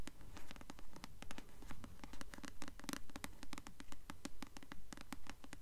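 Long nails scratch and tap the glossy paper cover of a blue paperback novel, *Delirium*, held upright. Quick, dry clicks and crisp scratches repeat in a steady, fairly regular rhythm, with bright edges over a low, soft body at a quiet level.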